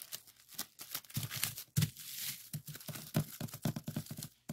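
A clear plastic bubble wrap sheet with hollow bubbles is pinched and squeezed between fingers and thumbs to pop it. The clip is a rapid, uneven run of sharp pops and crackles with bright, crinkly plastic rustling between them. A few pops land noticeably louder than the rest.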